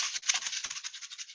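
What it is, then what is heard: Plastic bottle containing small gravel. A blue plastic sound-box bottle filled with small gravel is shaken, giving a bright, dry rattle of pebbles in rapid pulses with almost no low end. The shake is a sound-matching toy: the child listens and finds the red bottle that sounds the same.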